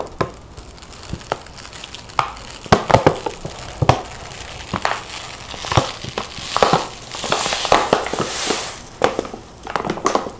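A large, partly full laminated plastic stand-up pouch of chia seeds is squeezed and crinkled by hand. Sharp crackling snaps and crinkles come in irregular bursts, with a few louder, hissier rustles toward the end.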